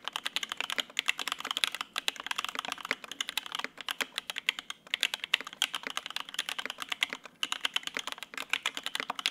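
A Lin Works Whale 75 mechanical keyboard with white and grey ABS keycaps on a polycarbonate plate, with lubed linear Opblack switches and set on a desk mat, is typed on continuously with the fingertips of both hands. Rapid, short, bright key clacks run in steady bursts with brief pauses, each stroke dying almost instantly with no low-end thump.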